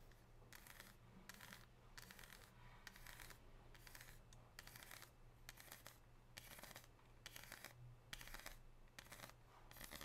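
Long pink nails tap and scratch on a solid, unwrapped bar of 99% dark chocolate with a scored square pattern resting on a gold tray, and then the bar is lifted. Quick bursts of bright, dry clicking and scraping come in short clusters over a steady low hum.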